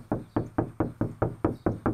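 Nine steady knocks on the bare rear deck sheet metal of a 2018 Challenger, tested before any sound deadener is installed. Each knock gives a dull, hollow thud with a low-mid tone around 330 Hz and a short ring. The panel is undamped, and this is the baseline before deadening.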